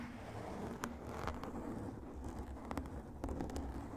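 Fingertips and short nails of both hands scratch a large, soft, porous black foam windscreen covering a microphone, with the mouth kept closed. The result is a steady low, rumbling rustle, broken by brief, sharp, crackly scrapes that flash up into the high range.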